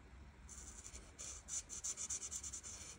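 The felt chisel tip of an art marker rubs and scratches across a flat paper coloring page while coloring in leaves. Quiet, bright, hissy strokes start softly, then become louder back-and-forth scratches that repeat about three times per second over a faint low rumble.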